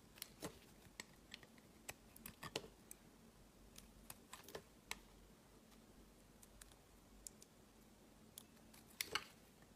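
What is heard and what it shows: A metal utility-knife blade shaves and scrapes thin curls off the edge of a small, solid, translucent green glycerin soap bar held in one hand, with the shavings piling onto a woven mat. The clip is a quiet, irregular series of short, crisp, bright ticks and scrapes centred around 2 kHz, each dying away almost instantly, with a louder cluster near the end.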